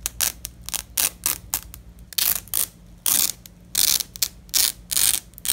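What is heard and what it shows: A black-gloved hand peels apart a fastened purple nylon hook-and-loop strip lying on red fabric. It makes a series of bright, crackling rips, some short and snappy and others longer tearing bursts, with almost no low end and quiet gaps between pulls.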